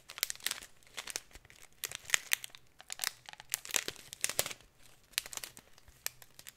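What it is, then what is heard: Plastic bag of glitter. A clear plastic packet of glitter is held in the hands while fingertips and nails crinkle and scratch its film. Quiet, dry crackles and scratches come in quick clusters of short bursts with brief gaps between them, each snapping off with no ring. The sound is bright and hissy, with almost no low end.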